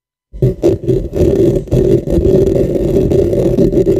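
Fingernails on both hands scratch and rub the top and sides of a dark, hollow, cylindrical microphone with a metal mesh head. After a brief silence, a dense, continuous scratching and rubbing sets in, with a hollow low-mid resonance and rough rumble that swell and dip as the nails move across the grille.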